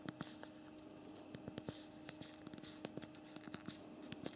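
Thumbs type a message on the physical plastic QWERTY keyboard of a BlackBerry Priv smartphone. An uneven run of short, quiet plastic key clicks taps out, some sharper and brighter than others, over a faint steady hum.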